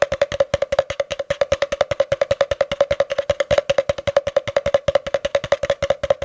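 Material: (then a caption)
Cardboard. A long, empty, hollow spiral-wound cardboard tube is held upright, with a face hidden behind it, while fingertips tap rapidly on its outer wall. About 56 quick, dry, hollow knocks sound in a steady, slightly uneven stream, each carrying a resonant tone near 560 Hz that dies away almost instantly.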